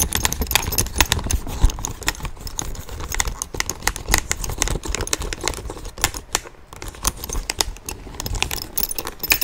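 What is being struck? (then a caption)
Small leather handbag with metal hardware. A small, hollow tan leather handbag with brass hardware is tapped and scratched with fingernails on its flap and front. Rapid, dry clicking taps mix with scratchy rustling that has a soft low thump underneath and a bright, crisp top. The taps are short and close together, with a brief lull in the middle.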